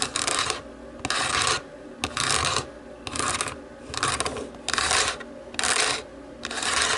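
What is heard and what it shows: Long nails scratch and rub back and forth over the white buttons of a black plastic TV remote. The result is a steady series of bright, raspy scraping strokes, roughly one per second, with brief clicks between them.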